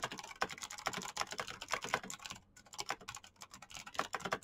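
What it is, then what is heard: Plastic mechanical keyboard. Fingertips type very fast on a black plastic mechanical keyboard with clicky switches. A rapid stream of sharp, bright clicks and clacks with very short decay is heard, with a brief pause about halfway through before the typing resumes.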